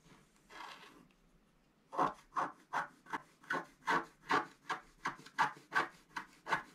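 A wooden stylus scratches the black coating of a flat scratch-art card, held down by the left hand, near the head area. After a faint, soft scrape, a steady run of short, dry, raspy strokes follows at a quick, even pace, each bright and papery with a midrange core.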